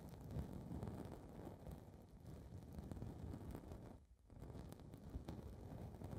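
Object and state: Foam microphone windscreen being scratched.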